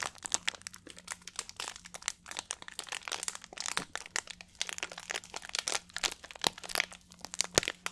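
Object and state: Plastic water bottle being crinkled.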